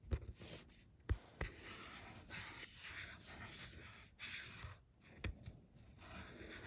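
Long painted nails scratch and tap across a small, flat cardstock Christmas card held in the hand, catching on its printed doves, "Noel" ornaments and glued rhinestone gems. Soft, dry scratching hiss runs throughout, broken by a few sharp, quick taps that die away almost instantly.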